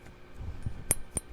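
Two quick, bright metallic taps on a metal silverware handle give short high clinks that die away almost at once over a low background rumble. The handle sounds hollow again, and because it won't come off, it is to be cut with a bandsaw.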